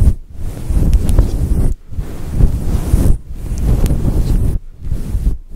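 Long acrylic nails scratch and rub a fluffy grey synthetic faux fur microphone windscreen. This produces a close, deep, muffled rumbling crackle that sits almost entirely in the low end. The sound comes in long strokes separated by brief near-silent pauses.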